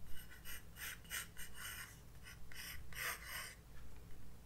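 A graphite pencil sketches outline strokes on a white paper page of a spiral-bound sketchbook resting on a desk. Short, scratchy bursts of bright, papery hiss come in a quick rhythm of back-and-forth strokes, with brief pauses between them. A faint low hum runs steadily underneath.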